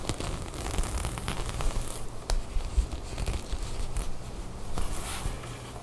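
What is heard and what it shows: Long nails scratch and pick at the textured knit of a cream knit sweater, its fabric bunched up and held in both hands. The result is a steady, crackly rustle over a low rumble, punctuated by sharp, brief scratchy clicks and faint bright fizz.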